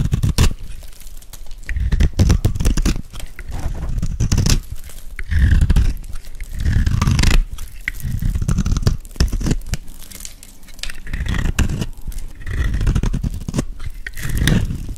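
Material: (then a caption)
Soap. A metal blade scrapes and shaves flakes off a hand-held, dry, solid white oval soap bar with a gold embossed coating. Repeated dry, crunchy scraping strokes come in bursts with brief quieter gaps, heavy and close in the low end with a faint brittle crackle on top.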